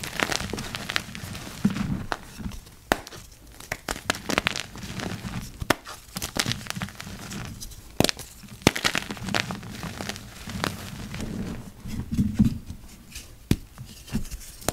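Two hands in yellow rubber gloves crush and break apart a heap of purple-dyed gym chalk, a dry, crumbly powder. The result is a steady run of soft, gritty crumbling and crackling, broken by sharp, dry snaps as pieces give way.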